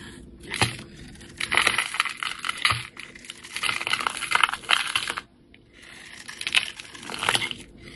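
A utility-knife blade shaves and slices layered curls from a solid, rounded bar of yellow soap with a copper glitter coating, held in the hand. Crisp, bright scraping and crackling come in bursts of dense strokes, with a brief quiet pause just past the five-second mark before the cutting resumes.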